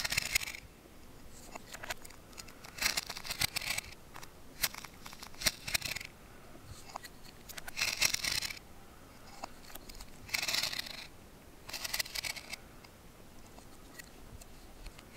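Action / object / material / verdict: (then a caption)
scrape / green wooden branch with bark, scraped by a steel knife / wood / none. A steel carving knife shaves and scrapes the bark of a solid, fresh green wooden branch in repeated strokes. The sound is a series of bright, dry, rasping scrapes in short bursts that rise above a quiet, hissy background.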